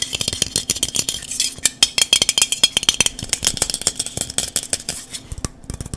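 A dark, hollow, cylindrical metal aerosol spray can is held close and tapped rapidly with the fingertips and nails. The result is a quick series of short, bright, tinny clicks and clinks that die away almost instantly, with a faint metallic ring.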